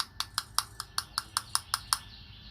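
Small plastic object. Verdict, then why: Hard. An orange and clear see-through hard plastic item with a white string is tapped ten times in a steady rhythm. Each tap makes a short, bright click that dies away almost instantly.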